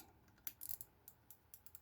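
A Peugeot XD engine oil pump is shaken by hand, its gears moving up and down inside the metal housing. A series of quiet, sharp, bright metallic clicks and light rattles comes at irregular intervals, each dying away almost at once. The clatter reveals loose gear end play in the pump.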